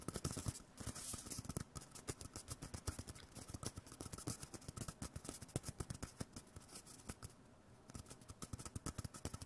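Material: Cardboard.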